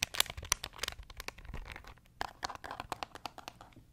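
A small beige plastic pocket calculator is held in the hands while fingertips press its keys quickly. About fifteen dry, bright clicking taps come in an uneven, rapid run, each cutting off almost instantly, with a softer crinkly texture between them.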